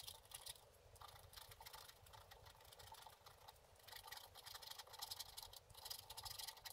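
A wooden stylus scratches the black coating of a flat, solid, book-page-size scratch-art paper board resting on a table, working in short strokes. The result is a continuous bright, papery scratching texture with many quick rasping bursts, rising and falling in intensity.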